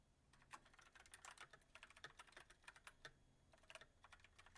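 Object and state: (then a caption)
Mechanical keyboard with plastic keycaps. Fingertips of both hands type rapidly on a backlit mechanical keyboard with white plastic keycaps on a silver metal frame. The result is a quiet, dense run of short, sharp clacks with a bright, crisp edge that die away almost instantly.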